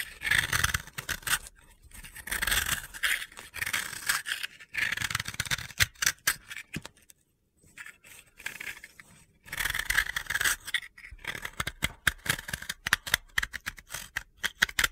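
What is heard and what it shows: A snap-off utility blade scrapes grooves into the face of a solid, round, pale blue dry soap disc held in the hand. Long, dry, gritty scraping strokes with a bright, high rasp alternate with short, sharp scratches, with a brief silence near the middle. The clip ends in a run of quick, crisp ticking scrapes.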